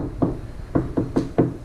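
A car's sheet-metal rear hatch fitted with sound-deadening mat is knocked five times. Each knock is a dull, low thud with little ring, far less hollow than before the mat was applied.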